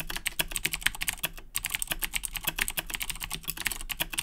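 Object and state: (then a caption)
Plastic mechanical keyboard being typed on. Both hands type continuously with their fingertips on a black plastic Razer BlackWidow 2010 Edition mechanical keyboard with Cherry MX Blue switches, resting on a desk. A rapid, steady stream of bright, sharp clicks is heard, with each keystroke ending almost instantly over a faint low thump.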